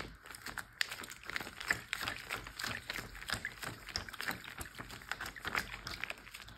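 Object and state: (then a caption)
Plastic bag filled with water. A large clear plastic Ziploc bag full of water, partly lifted, is pressed, tapped and crinkled with fingertips and nails. The result is a dense, steady stream of quick, bright crinkles and soft sloshy taps, with a few sharper clicks standing out.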